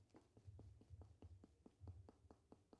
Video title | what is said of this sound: CHONDROMALACJA stawu udowo rzepkowego - co z tym robić ? | kiedy będę pukał w kostkę boczną O tu jakbym pukał drewno